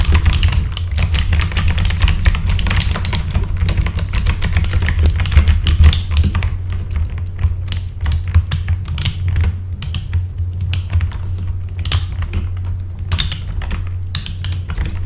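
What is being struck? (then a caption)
Mechanical keyboard with plastic keycaps. Bare fingertips type and tap on a full-size backlit mechanical keyboard with plastic keycaps and a hollow case. Quick, irregular bright clacks come in dense bursts, then thin out into sparser taps, all over a steady low hum.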